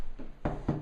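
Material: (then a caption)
Wood. A wooden door is knocked on twice, giving two dull, low thuds with little ring and almost nothing in the high end. The door sounds solid.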